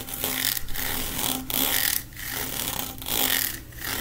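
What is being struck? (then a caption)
Corrugated plastic pop tube. A long, hollow, blue corrugated plastic pop tube is held in both hands while fingertips and nails run and scratch along its ribbed ridges. Bright, raspy scratching comes in repeated long strokes separated by brief quiet dips, over a faint steady low hum.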